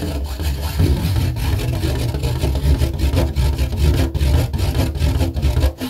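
Fingernails scratch and tap the underside of a red rigid plastic plate. The result is a steady, dense scratching with a deep, muffled rumble and quick tapping bursts throughout, with a slight dip near the end.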